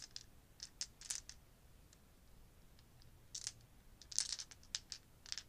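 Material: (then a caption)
Plastic. About ten small solid plastic or resin polyhedral gaming dice, clear, pearl and black with gold numbers, are cupped in both hands over a leather desk pad and shaken so they clack against each other. Quiet, bright, dry clicks come in scattered bursts, with two denser clusters near the middle and toward the end, over a faint low hum.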